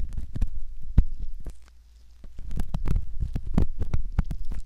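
A metal ear pick scrapes along the canal rim of a soft silicone ear model. Close, muffled scratching and rumbling strokes are broken by sharp little clicks, with a quieter pause in the middle before the scraping picks up again.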